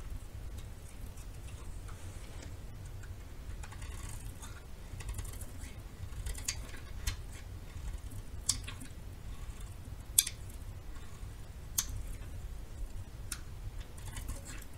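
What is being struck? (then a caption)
Bar of soap shaved with a metal knife. A metal knife shaves the edge of a small remaining piece of solid yellow bar soap held in the fingers. Quiet, dry scraping ticks and light crackles run throughout, with a few sharper, bright clicks standing out over a steady low background hum.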